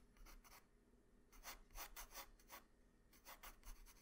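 A hand-held pencil rubs and scratches lines near the neck and shoulder of a sketch on a flat white drawing paper sheet. Quiet, bright, scratchy strokes come in short back-and-forth bursts with brief pauses, over a faint low hum.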